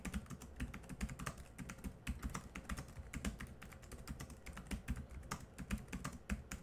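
Rapid typing with the fingertips of both hands on the black plastic chiclet keys of a small silver laptop, which feel solid. It gives a steady stream of quick, dry clicks with a low, thumpy body and short bright ticks, each tap dying away almost at once.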